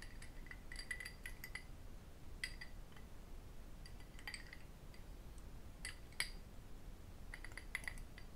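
An empty small cut crystal whisky tumbler, held in the hands, is tapped and clinked with fingertips and metal rings. Quiet, bright glassy clinks ring near 2.2 kHz with high overtones, coming in scattered clusters over a soft low rumble. Each clink dies away almost at once.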